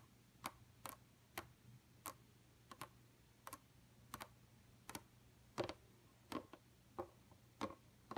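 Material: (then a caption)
Plastic. Long, pointed, painted nails of both hands tap on a flat, dark computer monitor screen, at times with the fingers pinched close together. About 15 sharp, bright, clicky ticks come at uneven intervals, some in quick pairs, each dying away almost instantly. A faint, steady low hum runs underneath.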